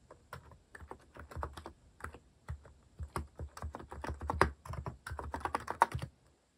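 Fingertips type on a compact white-cased mechanical keyboard with cat-themed plastic keycaps, giving a quick, irregular run of short, dry clacks with no ringing. The keystrokes come in uneven bursts with brief pauses, and the sound is centered in the low-mids with a soft low thud under each press.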